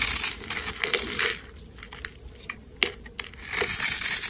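A solid pale yellow soap bar, held in the hand, has its scored surface scraped off into small cubes with a flat metal blade. Bright, crisp scraping and crumbling rises at the start and end, with sharp little clicks and crackles scattered through the quieter middle as the cubes break away.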